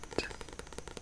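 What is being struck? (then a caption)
Hardcover book. A copy of the book *Matilda* is tapped with a rapid run of about eight short, dull taps. Each tap has a low-mid knock and decays almost at once, with a quiet hiss between taps.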